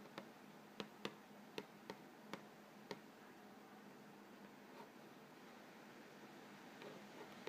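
Fingertips tap and scratch the front panel of a hollow, printed-cardboard Vegetable Thins crackers box filled with crackers. Eight quiet, short, dry taps, mostly in the first three seconds, with faint scratching and rustling in between over a steady low hum. The clip ends in soft, sparse rustling.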